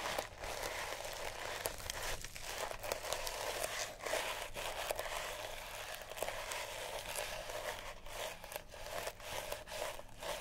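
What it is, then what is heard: Sisal rope cat toy. A small, solid cat toy wrapped in sisal rope is scratched with long natural nails, producing a dry, fibrous rasping and crinkling sound with bright high hiss. Short scratching strokes repeat throughout with brief dips between them.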